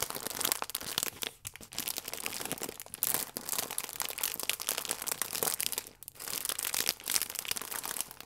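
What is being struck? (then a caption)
Plastic film pastry wrapper. A sealed, printed plastic film pack holding a hand-sized Misura cherry croissant, full with a soft pastry, is held in both hands and crinkled and squeezed with fingertips and painted nails. Dense, bright crinkling and crackling runs throughout with almost no low end, pausing briefly around 1.4 and 6 seconds before resuming.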